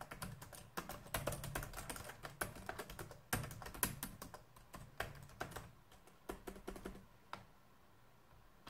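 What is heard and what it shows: Fingertips type and tap on the keys of a black plastic laptop keyboard, producing a rapid, uneven stream of short, dry clicks with soft low thumps beneath bright key snaps. The typing comes in dense bursts, then thins out to a few scattered taps after about six seconds and fades into near silence.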